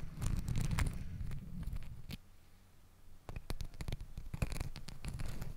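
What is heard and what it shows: Long acrylic nails scratch and rub stacked pink and green glittery fabric hair ties (scrunchies) wrapped around a microphone. The result is a dense, muffled, rumbling rustle with quick, bright scratchy flicks. The sound drops to a quiet lull midway, then resumes with renewed scratching.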